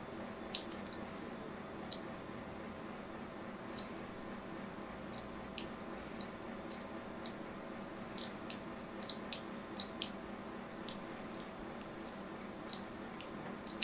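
A solid, hand-sized purple and white striped bar of soap, held in fingers with long nails, has its surface scored by a thin needle or blade in repeated scratch strokes. Many short, sharp, bright clicks and ticks stand out irregularly over a quiet, steady hiss, each dying away almost at once.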